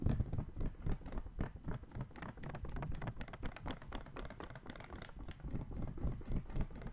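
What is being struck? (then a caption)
Folded paper sheet. A small folded white paper sheet is squeezed and crinkled by the fingertips of one hand close to a microphone. A steady, soft, crisp rustle of quick overlapping crackles plays throughout, with a muffled, low-heavy tone.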